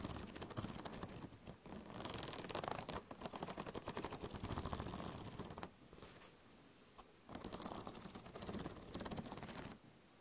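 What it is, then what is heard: Metal spiral binding of a notebook. Long painted nails scratch and flick along the metal coil binding of a medium spiral-bound notebook with a pink-blue cover, held close to the microphone. Rapid, dense clicking and rasping rattles in long bursts, with a quieter lull in the middle. The strokes then pick up again before fading near the end.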